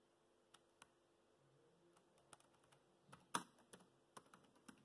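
Fingertips tap the black plastic chiclet keys of a dark grey laptop keyboard. Nine short, dry clicks sound at uneven intervals over a quiet background, with one louder, sharper keystroke partway through.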